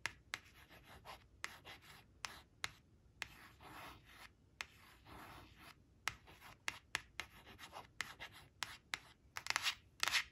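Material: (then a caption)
Laminated cardboard. Long acrylic nails trace and scratch across the glossy surface of a thin, flat, solid laminated cardstock flash card printed with "8 eight," lying on a woven fabric tablecloth. Bright, dry scratching strokes with longer rubbing passes are punctuated by sharp, quick clicks of the nail tips, with almost no low end and no ring.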